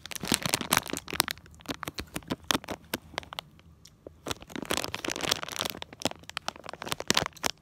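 Fingertips and short nails tap and scratch across a small, flat, printed plastic/foil Disney Tsum Tsum mystery blind bag holding a small figure. Dense, sharp crinkles and dry clicking cracks come in bursts, bright and crisp with almost no ring and little low end. The activity thins out briefly in the middle before picking back up.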